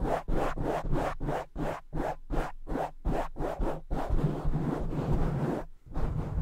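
A soft black foam windscreen over a large silver microphone is scratched with the fingertips and short nails of both hands. Fast, rhythmic bursts of dense, low-heavy scratching give way to continuous rubbing, broken by a brief gap before the scratching resumes.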